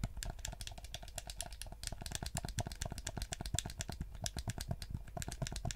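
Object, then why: Plastic game controller. Fingertips and nails rapidly tap and scratch a black PS4-style plastic gamepad with a hollow shell, held in both hands, while clicking its buttons. The result is a dense run of short, dry clicks and taps with a bright, crisp edge over a low hollow thud from the shell.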